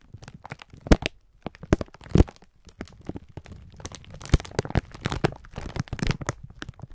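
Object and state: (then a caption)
Plastic-wrapped pack of sponge scourers. A clear plastic-film pack of sponge scourers is held in both hands while the fingertips squeeze and rub it, crinkling the plastic. Irregular dry crinkles and crackles come in quick bursts, with a few louder sharp snaps standing out. Each sound dies away almost instantly.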